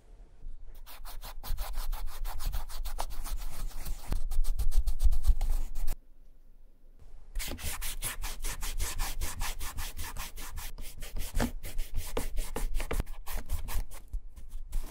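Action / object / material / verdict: scrape / leather shoe upper / leather / none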